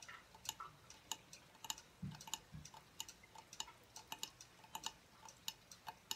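Fingertips and nails tap the thin, rounded plate of a silver aluminum tablet stand lying tilted on a wooden table. Some 25 quick, uneven taps sound as bright, dry metallic ticks that die away almost instantly, with two duller, lower knocks near the middle.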